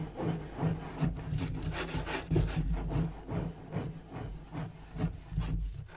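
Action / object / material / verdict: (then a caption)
scrape / wooden desk top / wood / none. Fingernails scratch and fingertips tap quickly across the surface of a large, solid, dark-stained wooden desk with a gold-tooled border, possibly with a leather inlay. Dense, irregular scratching and rubbing comes in bursts of bright rasping over a low, thudding hum.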